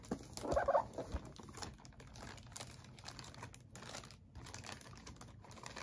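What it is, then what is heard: Plastic bag. A clear, thin plastic bag is held in both hands while fingers crinkle and rub it. A brief louder burst of crinkling near the start settles into a steady, quiet rustle of soft crackles and brushing across the rest of the clip.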